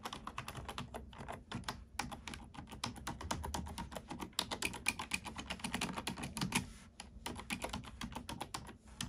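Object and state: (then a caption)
Plastic computer keyboard. A black plastic computer keyboard is typed on with fingertips and long nails, giving fast runs of short, bright plastic clicks and taps. The typing briefly pauses a few times before resuming, and each keystroke dies away almost instantly.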